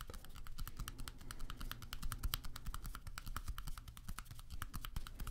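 A small deck of coated-paper playing cards is held in both hands in front of the microphones while fingertips rapidly riffle and flick the card edges. It makes a dense, continuous stream of quick, dry, bright clicks that stop instantly, over a steady low hum.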